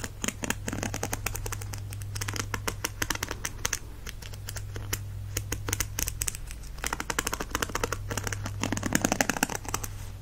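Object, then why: Plastic paddle hairbrush bristles strummed with a plastic stick. A white plastic stick is dragged and strummed across the dense plastic bristle tips of a black and teal plastic paddle hairbrush held in one hand. The result is a fast, continuous run of crisp, clicking flicks over a steady low hum.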